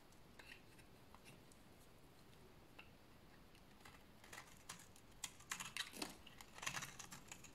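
A solid oval bar of dry beige soap is held in the hands and scraped with a blade into curly shavings. Quiet, bright scratchy rasps come irregularly at first over a low background hiss, then grow louder and denser toward the end.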